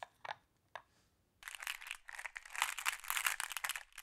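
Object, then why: Pile of small glass pebbles in a wooden tray. Hands with long blue nails press, rub and scratch across a pile of small, solid, flat glass decorative pebbles in a round wooden tray, making them shift and clack together. A couple of soft, separate clicks come first, then after a short pause a dense, bright, continuous clattering and crunching of glass on glass that grows fuller toward the end.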